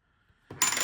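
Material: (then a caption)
Base metal. A counterfeit Morgan silver dollar, already shown fake on a Sigma Metalytics verifier, is pinged on a pocket ping tester. Two quick hits produce a short, dull, high ping that dies away within about a quarter second. The ping is bad.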